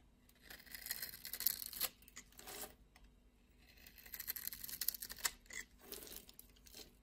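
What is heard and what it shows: A utility knife blade cuts and scrapes across the scored surface of a solid blue and white striped soap bar held in the hand. Crisp, bright scraping and crumbly, tearing rasps come in uneven bursts separated by near-silent pauses. The sound is quiet and dry, with no ring after each stroke.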